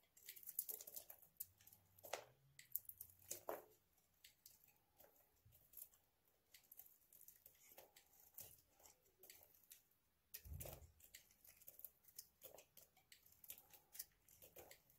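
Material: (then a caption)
Soap. A hand-sized solid bar of dry white soap is held in the hand while a utility knife blade scrapes its surface, producing crunchy flakes. Quiet, crisp, bright scraping and crackling bursts come in irregular clusters, with a brief duller thump around the ten-second mark.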